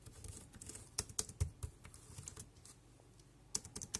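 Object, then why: Plastic computer keyboard. Fingertips type quickly across the keys of a dark grey compact plastic wireless keyboard. The rapid key taps come as short, dry clicks with bright tops and a soft low thump beneath. A few louder, sharper taps stand out against a faint background.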